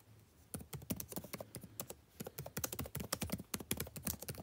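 Fingertips type continuously on a backlit laptop keyboard with plastic keys. A rapid, uneven run of short, dry clicks starts after a brief quiet moment. Each tap has a bright snap and a soft low thump that dies away almost at once.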